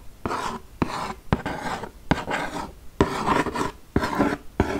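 Long nails scratch and tap the glossy front lid of a large printed cardboard game box, a "200 games" box, held up in front of the mic. Sharp, brief taps alternate with bursts of dry, raspy scratching across the lid.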